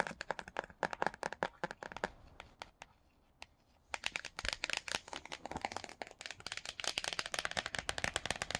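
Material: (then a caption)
Laminated cardboard. The laminated cardboard cover of a hardcover children's book, The Silver Slippers, is tapped and scratched by fingertips with paperclip-tipped nails. Rapid, bright, dry clicks come in quick bursts, with a quieter stretch of faint scratching in the middle. The fast tapping then resumes until the end.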